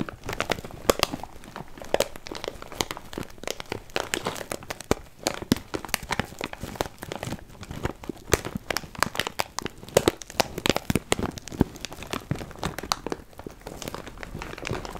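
A clear plastic bag full of cardboard puzzle pieces is squeezed and crinkled with the fingers. A steady, dense stream of sharp crackles and crinkles runs throughout, with brief bright snaps and a light rustle of the pieces shifting inside.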